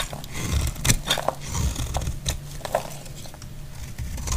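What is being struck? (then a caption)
Cream bar soap cut with a metal blade. A solid, dry cream bar soap is cut and scraped with a metal blade, breaking off crumbly shavings. Short, dry crunches and scrapes come in an uneven series, each with a low thud and bright, crisp crackle that dies away almost at once.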